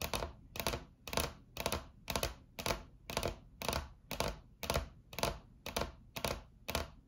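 Long acrylic nail tips tap rapidly on a solid, flat white laminate tabletop, with both hands clawed. The sound comes in about fourteen evenly spaced bursts of bright, clicky tapping, each fading quickly with a little low thump underneath.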